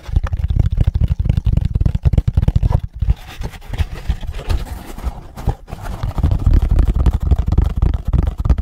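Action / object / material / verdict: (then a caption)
tap / moulded pulp cardboard egg carton / cardboard / none. A hollow moulded pulp cardboard egg carton is held in both hands and flipped over while fingertips tap and scratch its cups and lid. Rapid, dull, low-pitched taps come first, then softer papery scratching, building to denser, louder scratching toward the end. Each tap dies away almost instantly with no ring.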